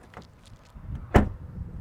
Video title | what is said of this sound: Better Than The Germans? 2022 Volvo S90 Review | porta che si chiude saldamente